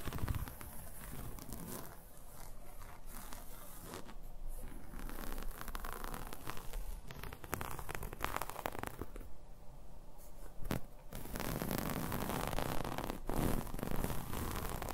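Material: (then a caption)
Knit fabric. A folded red ribbed knit garment of soft, thin fabric is held up in both hands and scratched and rubbed with long manicured nails. This makes a steady, dense rustling and scratching with crinkly, tearing-like texture and brief scrapes, holding an even level throughout.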